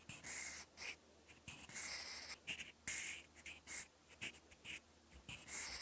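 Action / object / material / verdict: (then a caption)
scrape / pencil lead on a paper notebook page / paper / none. A thin mechanical pencil lead scratches across a lined cream paper notebook page in writing strokes. Quick, bright, hissy scratches come in short bursts with brief quiet gaps, and there is almost no low end.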